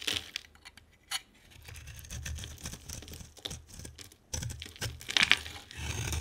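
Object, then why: Bar of soap. A utility knife blade scrapes a hand-sized, solid green bar of soap with a white outer layer into flakes. The result is a run of crisp, dry, bright scratching and crinkling strokes with quiet gaps between them, growing louder toward the end.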